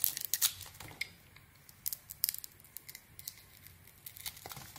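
A metal blade carves scraping cuts into a solid, palm-sized red bar of soap with glitter lettering, held in the hand, peeling off slices to reveal the white core. The result is a quiet series of short, crisp, crackling scrapes and shaves, bright and high-pitched with almost no low end, separated by brief pauses.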